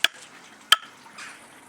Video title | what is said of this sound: Bow Drill Fire Starter: The Primitive Fire-Making Technique | when you tap the wood you hear the sound when it's dry